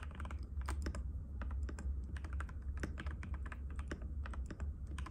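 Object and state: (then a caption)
Plastic mechanical keyboard. Fingertips of both hands type rapidly and continuously on a compact cream-white mechanical keyboard with plastic keycaps and a hollow case, resting on a glass table. Quick, short clicky taps overlap in a steady stream over a constant low hum.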